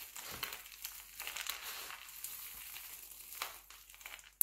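Both hands squeeze, crush and rub handfuls from a pile of mixed-color glycerin soap shavings. This makes a quiet, continuous crinkly crunching that is mostly high and bright with almost no low end, rising in small bursts as the flakes are pressed. A sharp, louder click cuts in at the very end.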